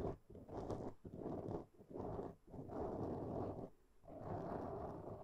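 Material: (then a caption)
Foam. Long nails of both hands scratch a black foam windscreen on a microphone, producing dense, close, muffled rustling that comes in irregular bursts. The scratching is heavy in the low and middle range with almost no bright top, swelling and fading between strokes with brief quieter gaps.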